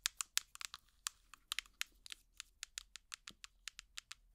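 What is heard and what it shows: A small, hollow, translucent plastic jar with an orange lid, held close to the mic, is tapped and scratched with finger picks. About 22 sharp, bright, dry clicks come in an uneven rhythm, high-pitched with almost no low end and no ring. Faint scratchy rustling sits between them.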